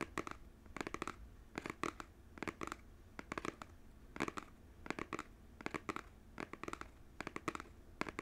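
A small cardboard Joy-Con game controller box is held sideways in both hands while fingernails scratch and tap its printed front. Quick, crisp clusters of dry taps repeat about once a second over a faint steady hiss, each tick stopping instantly with a bright papery edge.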